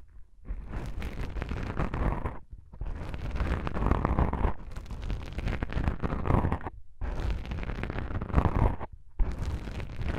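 Long pink nails on both hands scratch and tap black soft foam microphone windscreens, making a dense, muffled, bass-heavy rustling and crackling. The scratching comes in sustained bursts broken by a few brief silences.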